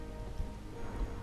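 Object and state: Nothing is struck.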